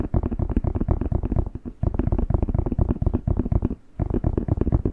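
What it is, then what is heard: Red bell pepper, tapped and squeezed. A whole, fresh, hollow, hand-sized red bell pepper is held in both hands while fingertips tap and squeeze its skin close to the mic. The result is a rapid stream of deep, dull, muffled thumps with almost no ring and no bright edge, pausing briefly near the two-second mark and again just before the fourth second.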